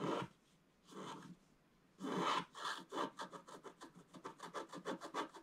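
A wooden stylus scratches the black coating off a flat scratch-art page on a table around the sun at the top left, while the other hand steadies the page. A few separate, broad scraping strokes are followed by a quick run of short, dry, bright scratches with a mid-range rasp.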